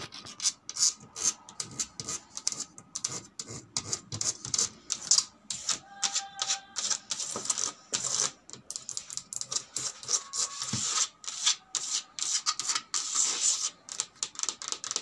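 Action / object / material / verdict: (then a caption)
tap / hard plastic suitcase shell / plastic / none. Long red pointed nails scratch and tap along the ridged shell and lock area of a large, closed, hollow grey hard-shell plastic suitcase with a combination lock, latch and handle, a white string tied to the handle. A rapid, uneven run of dry, bright clicks and scratchy rasps follows, each one short with almost no ring and very little low end.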